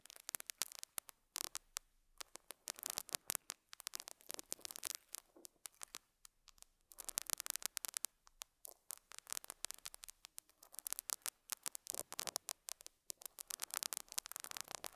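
A metal dental scaler hook scratches and picks at a small square beige felt pad on a lapel mic. It makes dense, bright, crackly scratching in quick bursts, full of sharp clicks and rustling with almost no low end. Short pauses fall between the bursts.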